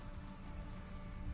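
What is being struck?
Nothing is struck.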